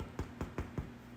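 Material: Bread.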